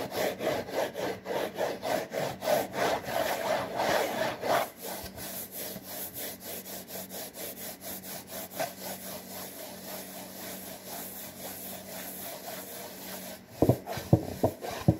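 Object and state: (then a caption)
Cardboard box being scratched. Fingertips and nails scratch and rub the front panel of a printed cardboard saltine cracker box lying on its side; the box is hollow, and any contents can't be seen. Quick, rhythmic rasping strokes start loud and fast for about four seconds, then settle into a softer, steady rubbing with a dry, papery hiss. It ends with a few sharper, louder scratches.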